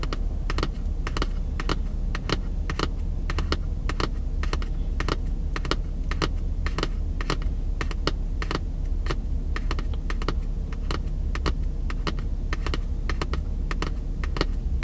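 Fingertips tap quickly on the cover of a red paperback book held edge-on in one hand. The taps come as a rapid, irregular run of short, dry clicks with bright edges, like typing, over a steady low hum. The clicks keep going evenly for the whole clip.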